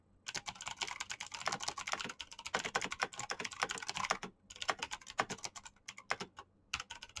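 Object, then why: Plastic mechanical keyboard. Very fast fingertip typing on a black plastic mechanical keyboard with clicky green switches. Rapid bursts of sharp, bright clicks with almost no low end are broken by brief pauses. Each keystroke is crisp and dies away at once.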